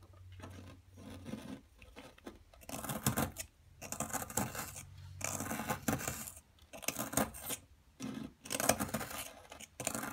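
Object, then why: Plaster excavation block worked with a metal chisel. A wooden-handled metal chisel scrapes and chips at the surface of a solid, palm-sized blue plaster dig block steadied by one hand, with loose plaster powder lying beside it. Irregular bursts of gritty, bright scraping and short chipping crunches are separated by brief quiet pauses.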